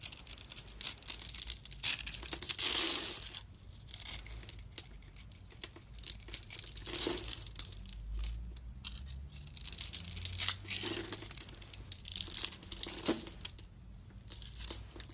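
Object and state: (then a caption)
Bar of soap being carved. A metal utility blade scrapes across a solid, palm-sized oval bar of blue soap held in the hand, shaving off pre-scored small cubes that crumble away. Bright, dry, crackling scrapes come in irregular bursts, with a soft, crumbly tearing texture and almost no low end.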